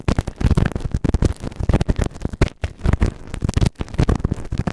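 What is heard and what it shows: A pointed white plastic tool is pushed into the canal of a grey silicone ear microphone and scratches the silicone. It makes rapid, dense bursts of muffled, low thumping and crackling scrapes, with short pauses between clusters.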